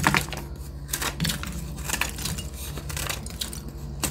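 Metal scissor blades scrape and cut into a hand-sized, solid white block of reformed gym chalk (magnesium carbonate) held in one hand, crumbling chunks off onto a yellow surface. Repeated dry, bright scraping crackles and crunches come in short bursts over a steady low hum.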